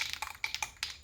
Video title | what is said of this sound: Worksman Adult Two Seat Tricycle Disassemble and Repaint | shake the can until the ball quits rattling